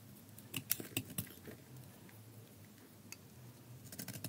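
A metal utility blade shaves a palm-sized solid bar of dry soap with a black wrapper or outer layer, held in one hand, peeling off curly soap flakes with scraping cuts. A cluster of short, crisp, bright scraping cuts comes early, then a quiet stretch with a lone cut, and another quick run of scrapes at the end.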